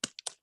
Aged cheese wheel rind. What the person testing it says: you can knock on it it's really hard like parmesan